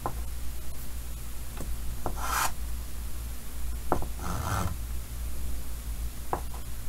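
Fingers draw small details with white chalk on a large, solid painted chalkboard set in a green wooden frame. Short, sharp chalk taps are heard, along with two longer, brighter scratching strokes. A steady low hum runs underneath throughout.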